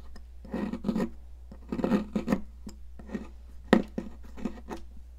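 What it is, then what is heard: Sidewalk chalk scraped with a knife. A small metal palette knife scrapes and carves a solid blue popsicle-shaped stick of sidewalk chalk, leaving a pile of blue crumbs on a plastic mat. Dry, gritty scraping strokes come in bursts with short quiet gaps, and one sharper scrape stands out near the end over a steady low hum.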